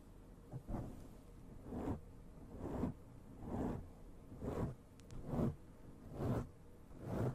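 Long nails on both hands scratch a soft, porous black foam windscreen covering a large desktop microphone. About eight slow, rhythmic swells of muffled, rumbling scratching rise and fade roughly once a second, heavy in the low end with a faint crackle on top.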